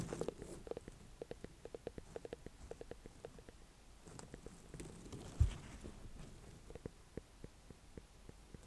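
Long painted fingernails tap a small, ribbed orange-and-cream ornamental pumpkin with a firm rind, held over hay. About twenty quiet, dull, low taps land in an irregular rhythm, each dying away almost instantly, with one louder thump near the middle. Faint rustling runs underneath.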